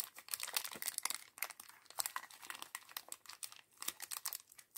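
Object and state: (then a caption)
Small plastic bag of LEGO pieces being crinkled. A small, thin, clear plastic bag holding a few blue and grey LEGO pieces from the Star Wars Jango Fett set 75107 is held in both hands and crinkled and rubbed between the fingertips. It makes dense, bright, crackling crinkles in quick irregular bursts with almost no low end. Each crackle stops dead with no ring.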